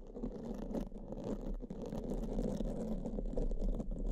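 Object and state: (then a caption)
Foam microphone windscreen being brushed. Pink silicone spoolies brush in strokes across black foam microphone windscreens, making a steady, low, muffled scratching and rustling. The level swells slightly toward the end.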